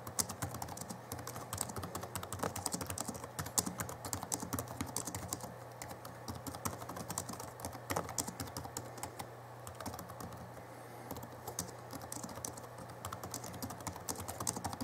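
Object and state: Plastic laptop keyboard.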